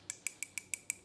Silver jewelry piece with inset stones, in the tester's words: it sounds hollow on the inside. So, it feels like two sheets of sterling kind of soldered together here